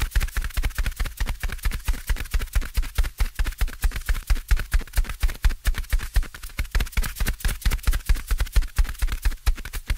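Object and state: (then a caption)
Foam microphone windscreen, soft. A fingertip taps repeatedly on top of a soft, porous black foam windscreen covering a microphone. The taps come as a fast, somewhat uneven run of short, muffled low thumps centered near 59 Hz, with almost no high-frequency content. Each thump dies away almost instantly.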